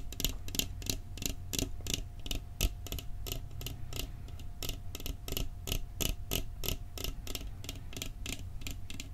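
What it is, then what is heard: Empty metal cookie tin. A round, flat metal cookie tin with a printed Christmas scene on its lid, hollow and apparently empty, is held in both hands beside the microphone and tapped quickly with fingertips and nails on the lid and rim. The result is a rapid, somewhat uneven run of short, bright, dry clicks that die away almost instantly, over a steady low hum.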